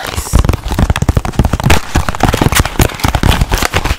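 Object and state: Cardboard box.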